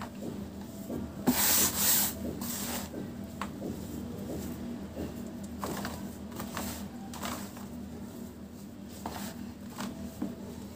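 Bare fingertips and palms scoop, rub and crumble handfuls of fine, dry, grey-brown powdered dirt in a large round tub, letting it fall back onto the pile. Soft, gritty rustling and crumbling continues throughout, with louder bright, hissy pours near the start and lighter sifting crackles later, over a faint steady low hum.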